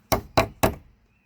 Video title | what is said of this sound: Day 2 ~ On to Australia! | when you tap it it sounds nice and hard